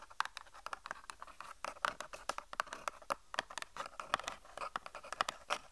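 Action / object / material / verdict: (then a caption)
tap / small cardboard box / cardboard / none. A small, hollow white-and-pink cardboard cosmetic box is held in both hands and tapped and scratched with long painted nails. The result is a quiet, rapid, irregular stream of dry, hollow clicks and brief scratching sounds with very little low end.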